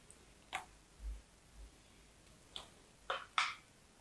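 A small solid pink bar of soap with a dotted pattern is held in hands with long yellow nails and shaved and carved with a thin dark knife, dropping curls onto a purple cloth. Four short, bright, crisp scraping cuts stand out, the last two close together, with two soft low thumps between the first and second cuts. Each cut fades quickly against a quiet background.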